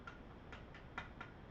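Five light taps on the stock material of a LuthAR MBA-1 rifle stock, assumed to be fiber-reinforced nylon polymer, each giving a short, crisp tick with a brief ring near 1.4 kHz. The stock proves very stiff and very hard, and a fingernail pressed into it leaves no mark.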